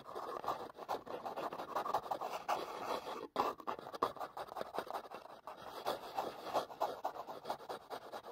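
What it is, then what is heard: Cardboard box. Long fingernails rapidly tap and scratch a small, hollow, printed cardboard product box held over the microphone. The result is a dense, continuous run of dry, papery clicks and scrapes centered in the midrange, each dying away almost instantly. The flurry breaks briefly just after three seconds, then continues at the same fast pace.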